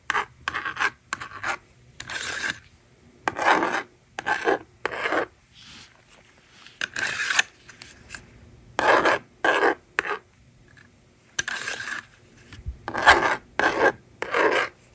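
A stylus scratches numbers onto a handheld plastic toy magnetic drawing board, then the eraser slider is pulled to clear the screen. Short, dry, raspy scratching strokes come in separate bursts with quiet gaps between them, centered in the mids around 1.6 kHz with a bright, hissy edge.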